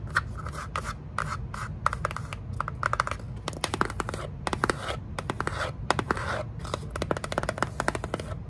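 Long nails scratch and tap the face of a small, hollow kraft cardboard box with a sticker label, held in the hands. The result is a dense run of dry, papery scrapes and quick, sharp clicks, each dying away almost instantly, with a hollow midrange tone around 830 Hz over a steady low rumble.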